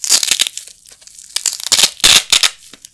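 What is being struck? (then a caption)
Nylon hook-and-loop Velcro patches. A pair of small, flat black nylon hook-and-loop Velcro patches, held in both hands with the fingertips, is ripped apart above a carpet. Bright, crackling rasps come in bursts of rapid clicks, with a quiet pause in the middle. Each burst ends quickly, with almost no low end.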